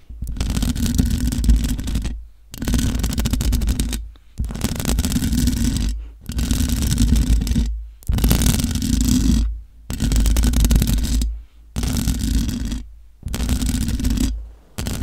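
Long nails and fingertips scratch the hollow metal mesh grille of a large black microphone, making dense, rough scraping with a heavy low rumble and a faint bright hiss on top. The scratching comes in about eight bursts of one to two seconds each, separated by short silent pauses.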